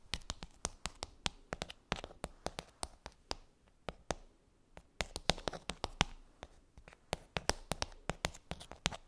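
Long nails tap across the tops of the hollow domes on a pink plastic bubble tray. It makes a quick, uneven run of dozens of sharp, bright clicks with faint, hollow scratchy noise between them. Each tap dies away almost instantly.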